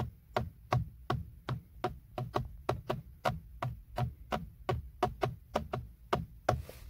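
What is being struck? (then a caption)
Hard plastic steering wheel airbag cover. Fingertips and short nails, with a ring on one finger, tap and knock on the hollow, hard textured plastic center airbag cover of a BMW steering wheel. About 21 quick, dry hits come in an uneven rhythm, each with a low hollow thump under a short, clicky midrange tap that dies away almost at once.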